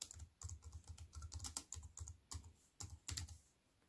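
Fingertips and long white-painted nails type steadily on a compact wireless keyboard with black plastic keys and a grey metal-look frame, resting flat on a wooden table. Bursts of quick, dry clicks with bright, clacky tops ride over a soft low thud from each keypress. Each tap is short, with uneven pauses between them.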